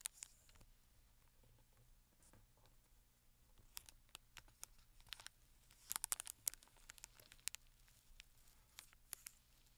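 Fingertips and short nails tap and scratch the film-covered edges and top of a closed, flat rectangular cardboard Penhaligon's fragrance gift box, still wrapped in clear plastic film and lying on a sequin cloth. The sound is quiet, with bright, crisp crinkles and sharp clicking ticks that die away almost instantly. A faint low hum runs underneath.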